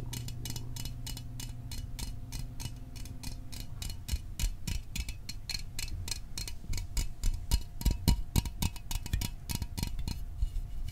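A small printed aluminum Fanta soda can is held in the fingers near the microphone while fingertips and nails tap its body. The result is a fast, uneven stream of short, dry, bright ticks over a steady low hum, with the taps growing louder and sharper in the second half.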